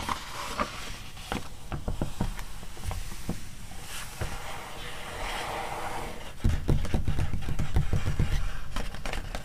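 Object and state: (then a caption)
Glossy magazine pages scratched and tapped. Fingertips and long nails scratch and tap the coated paper of a glossy animal magazine lying open to an illustrated spread about evolution. Soft, irregular taps and papery scrapes repeat throughout, mostly low and dull. They grow noticeably louder and thumpier in the last few seconds.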